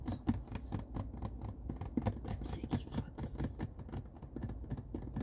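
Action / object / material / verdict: tap / cardboard tissue box / cardboard / none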